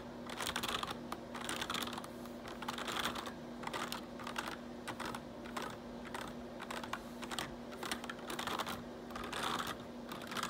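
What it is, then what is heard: Plastic computer keyboard being typed on. Fingertips type fast on the keys of a black plastic RGB backlit computer keyboard. The result is a dense, continuous stream of light, bright clicks and clacks that rise and fall slightly in bursts. A faint steady hum runs underneath throughout.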